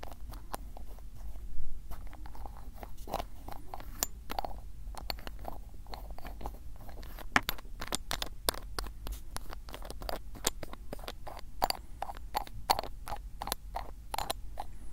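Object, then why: Small glass ink bottle with ribbed plastic cap. Fingertips twist and tap the black ribbed plastic cap of a small square glass bottle of blue ink, opening and closing it. Dense crisp clicks and short ratcheting ticks follow one another across the clip, each dying away almost instantly over a steady low background rumble.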